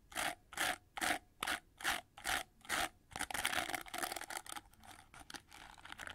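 Long nails scratch across the red plastic bristles of an oval hair brush with a gold plastic frame: seven evenly spaced, bright raspy strokes. These give way to a quicker, denser run of flicking and scratching, then softer rubbing along the gold edge.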